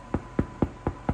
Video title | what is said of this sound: Too Busy for Sourdough? Watch This (9-5 Friendly Step-by-Step) | if you knock on the bottom, it should sound hollow